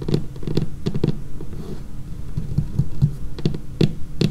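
Long painted fingernails tap across a dark laminated wooden tabletop in an irregular, patter-like rhythm. Each tap is a dull, low, woody knock with a faint bright click on top, dying away almost at once.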